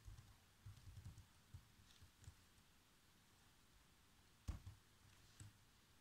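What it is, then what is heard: Plastic laptop keyboard being typed on. Fingertips press the black plastic keys of a laptop keyboard, producing soft, muffled typing taps with light clicks. The taps come in scattered short bursts, mostly dull and low, with a sharper, louder click near the end. Each keystroke dies away almost instantly against a quiet background.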